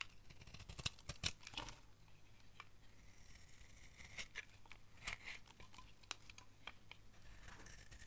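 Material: Soap.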